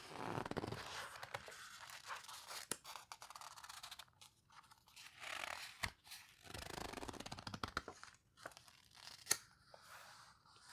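Hands with long nails turn and squeeze the pages of an open hardcover paper photo book, making soft rustling swells punctuated by sharp clicks and taps. Dry, crinkly paper sounds rise and fade in bursts, with bright crisp transients and little low end.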